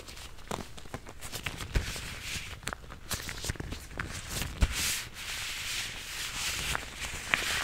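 Thin blue nitrile gloves worn on both hands are pulled on and stretched, and the gloved fingers rub together close to a furry microphone, which is not touched. The result is a steady bright, papery rustling with soft low thumps and short sharp snaps and squeaks scattered irregularly throughout.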